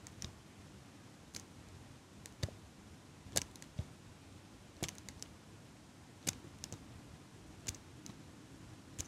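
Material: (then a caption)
Metal. A small metal eyelash curler, held upright close to the mic, is squeezed and clicked by fingers with long nails. About eighteen short, crisp metallic clicks come at irregular intervals, each bright with a soft low thump and dying away almost instantly. A quiet, steady hiss sits underneath.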